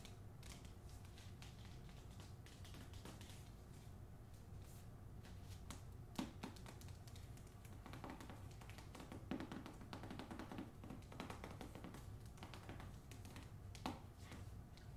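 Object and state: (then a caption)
Book, tapped with fingernails. Fingernails tap on the cover of a book, the first in a series, in a quiet, steady run of quick, dry clicks with no talking. The taps are soft and low-heavy, with a few slightly louder clicks standing out.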